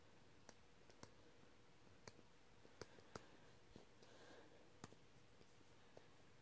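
A black stylus pen taps the toolbar on the flat glass touchscreen of a tablet or laptop, then writes the word "Hopefully" with tapping and scratching strokes on the glass. About eight short, crisp clicks stand out over a quiet, soft scratchy background, each dying away almost at once.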